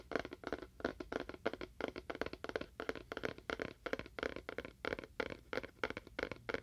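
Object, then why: Small cardboard box. Fingernails tap quickly on a small, hollow, apparently empty rectangular cardboard box with a faux wood-grain print, held beside a binaural microphone and moved from ear to ear. Rapid bursts of dry, hollow clicks with a papery midrange body cluster together and die away almost instantly, with little low end.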